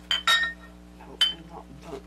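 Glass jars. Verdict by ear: Empty.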